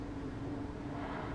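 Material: Nothing is struck.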